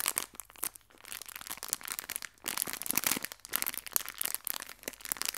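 A small clear plastic bag full of fabric hair ties is squeezed and crinkled with fingertips and long red nails. Bright, dense crinkling and sharp crackles come in uneven bursts with almost no low end, easing off briefly before starting up again.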